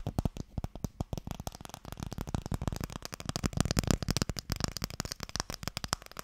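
Fingernails tap quickly along the lid of a small, long, hollow wooden Mikado box. The result is a rapid, uneven stream of dry, short clicks with a hollow low knock under each and almost no ring.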